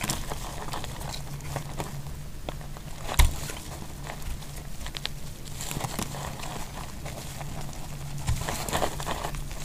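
A small leftover piece of solid pink dry bar soap is held in the fingers while a metal utility knife blade scrapes flakes off its edges. The result is a steady, dry crackling and crinkling with a low hum underneath, and two sharper scrapes stand out.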